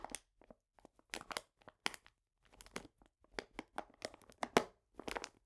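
A medium printed paper bag full of cane sugar is squeezed and rubbed with fingertips. It gives a series of short, dry crinkling and crunching bursts with brief quiet gaps, bright and papery with almost no low end.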